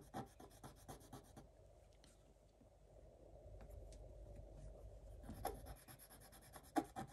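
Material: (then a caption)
Coated paper. A thin wooden stylus scratches strokes into a black-coated scratch-art paper page lying flat. Quick, quiet scratchy ticks open the clip, then give way to a longer, steady, low-mid rasping drag. Sharper scratching strokes return near the end.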